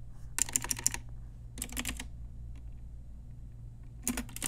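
Slow typing with fingertips and long nails on a pink Ajazz typewriter-style retro mechanical keyboard with round plastic keycaps produces three short bursts of crisp, bright clacking, with quick clicks that die away almost instantly. A steady low hum sits underneath throughout.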